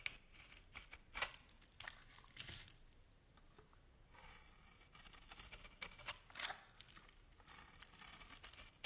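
A solid white bar of soap is held in hand and scraped with a metal box-cutter blade, curling shavings off it. The scraping is quiet and bright, with dry, crackly strokes and sharp little peaks. Each stroke stops quickly with almost no ring.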